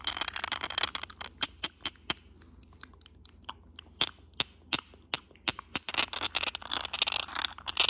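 Short nails and fingertips tap and scratch the textured surface of a small, hollow, cylindrical white glass vase with a grey geometric pattern. Dense bright scratching at the start and end frames a middle run of sharp, separate clicky taps, each with a brief high glassy ping that dies away almost instantly.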